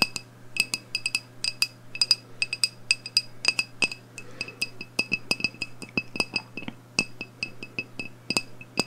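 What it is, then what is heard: Glass candle jar tapped with nails. Long acrylic nails tap and clink on the glass side of a medium black glass candle jar, filled with wax and with its wick lit. A quick, irregular run of short, bright, high-pitched clinks dies away almost instantly, over a steady low hum.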